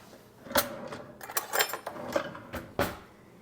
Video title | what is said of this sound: Preserving eggs | I tap it and you hear that little snap